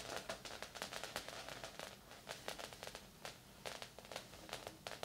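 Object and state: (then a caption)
Coated fabric body wrap blanket. Long acrylic nails and fingertips scratch and tap across a large, flat, padded silver-grey sauna body wrap blanket with a synthetic, foil-like coated surface lying on a bed. Many quick, crisp, bright ticks and rustling scrapes follow in irregular bursts, each dying away almost at once, over a soft, steady hiss.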